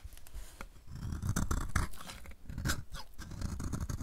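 A solid, oval, blue-and-white marbled dry soap bar, held in the hand, is scraped with a utility knife blade, producing crunchy shavings. A dense run of irregular, dry scraping crunches with short bright crackles sits over a strong low-end rumble.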